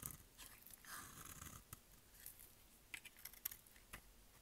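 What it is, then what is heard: Dry bar soap. A solid orange rectangular bar of dry soap is held in one hand and cut with a utility-knife blade in quick repeated strokes, shedding crumbly orange flakes. Quiet, dry, bright scraping crunches and sharp little clicks follow one another closely, each stopping short with no ring.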